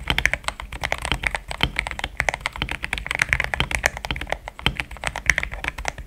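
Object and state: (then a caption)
Mechanical keyboard with plastic keycaps. Fingertips type fast on a compact, pink-cased mechanical keyboard with thick cream XDA plastic keycaps, which feels solid. A rapid, steady run of short, dry clacks centered around 2 kHz carries a bright top and a light low thock, with each keystroke dying almost instantly.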